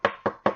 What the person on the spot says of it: i'm knocking on the table i don't know if you can hear that this is a hard table